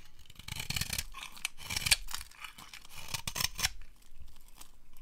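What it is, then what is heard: Dry bar soap being carved. A utility knife blade carves a dry, solid, rectangular bar of translucent brown soap into crumbly flakes. Crisp, bright scraping and crunching bursts come in quick uneven strokes, each with a soft low thud beneath it.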